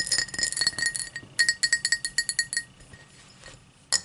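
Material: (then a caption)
Crystal glass. Long matte black nails tap and scratch a tall, empty cut-crystal highball glass lying on a towel. A rapid run of bright, clinking glass taps with a ringing tone near 1.9 kHz and short decays gives way to a softer, quieter scratching stretch, then one final sharp tap.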